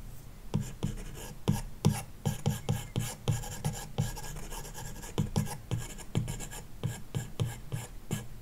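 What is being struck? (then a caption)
Plastic stylus on glass tablet screen with matte film. A plastic stylus tip makes quick, repeated shading strokes across a large iPad glass touchscreen fitted with a matte screen protector film, scratching the surface. The result is a steady run of short, dry, raspy scrapes with soft low tapping thuds and no ringing afterward.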